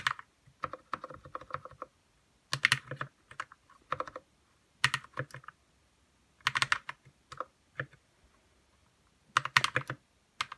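Fingertips type on a white 60% RK61 mechanical keyboard with plastic keycaps and lubed red switches. Quick bursts of soft, clacky keystrokes with a bright edge come in clusters separated by short pauses. Each press is crisp and dies away almost instantly.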